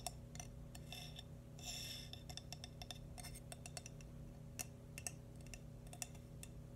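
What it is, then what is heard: Ceramic baby shoe. A small hollow glazed cream ceramic baby bootie is tapped quickly with fingernails, up close. It gives sharp, bright clicks that die away almost instantly, with a brief scratchy brush of nails near the start, over a steady low hum.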